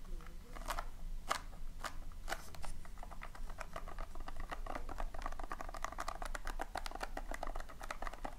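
Fingertips and long nails scratch and rake across the surface of loose, colored polystyrene foam beads filling a tin. The result is a quick run of crisp, dry clicks and crackles, sparse at first and then dense and steady, with bright squeaky edges over a low background rumble.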